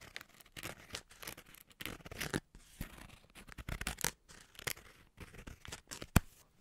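A hand-sized green crinkly plastic snack packet, sealed and partly filled, is held in both hands and squeezed, rubbed and crinkled with the fingertips. Bursts of dry, bright crackling rustle come and go with short silences between them, and one sharp crackle stands out near the end.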